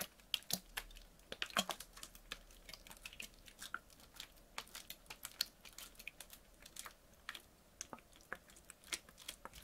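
A clear PET water bottle, partly filled with water, is tilted, squeezed and crinkled by hand. It gives a quiet, irregular series of sharp, bright crackling clicks and pops with very little low end, and each snap dies away almost instantly.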